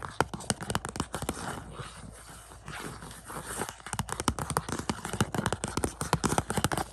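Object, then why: Cardboard slipcover over a plastic disc case. Fingertips and nails scratch, scrape and tap the front of a glossy cardboard slipcover on a 4K Shang-Chi Blu-ray case lying on carpet. Brisk, dry clicking taps open and close the clip, with a softer stretch of continuous scratchy scraping in the middle. Each tap dies away almost instantly, with no ring.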